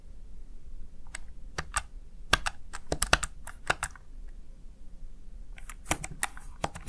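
A small, hollow, backlit plastic Razer Tartarus Chroma gaming keypad is tapped with fingertips and long nails in an irregular typing rhythm. Each press gives a short, sharp, bright plastic click that dies away almost instantly, with a faint low background rumble between taps.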